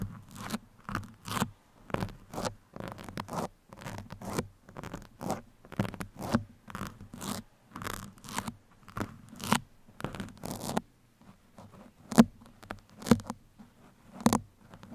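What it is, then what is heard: Foam microphone windscreen scratched with metal pins. Two thin metal pins, held one in each hand, scratch across a black foam microphone windscreen. The result is a fast, rhythmic series of short, dry, scratchy rustling strokes over a faint low hum. After a brief pause near eleven seconds, the strokes become sparser and sharper.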